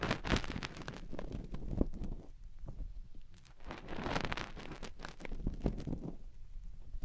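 Fingertips rub and dig at a soft, solid silicone ear mounted on a round white and silver binaural microphone housing while a hand cups it. The result is close, muffled scratching and rustling with a deep rumble, many soft bumps, and brief bright crackles that fade to quieter stretches before building again.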